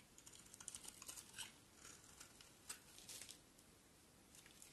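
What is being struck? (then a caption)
Solid soap bar cut with a knife blade. A utility knife blade carves a solid white bar of soap held in the hand. The result is a quiet, irregular series of short, crisp, bright scraping clicks, each dying away almost instantly, with a soft hiss between cuts and very little low end.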